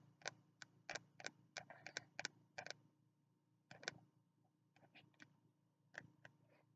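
Fingertips tap the cover of a small green spiral notebook with a card cover, held in both hands. The result is quiet, crisp, dry ticking taps in irregular bursts with a short pause in the middle, each tap bright and dying away almost instantly over a faint low hum.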